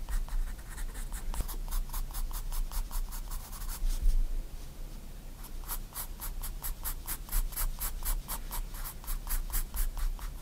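A 4B pencil makes quick, short strokes on a white paper sketchbook page lying flat, giving a steady run of bright, dry scratches. The strokes come in two bursts separated by a brief pause near the middle, over a constant low rumble.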